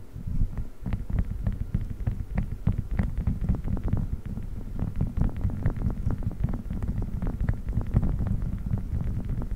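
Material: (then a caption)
Silicone. A flat blue silicone spiked massage pad draped over the metal grille of a large condenser microphone is pressed, squeezed and rubbed with fingertips. The result is a continuous deep, muffled rumble made of dense, rapid soft crackles and thumps, with faint brighter ticks flicking above it.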